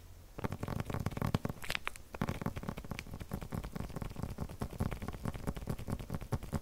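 A flat paper package wrapped in clear plastic film, held in both hands, is tapped and scratched with the fingertips. A dense run of soft, quick taps and crinkly scratches comes through with a dull low thump under each, after a brief quiet start. No verdict is given.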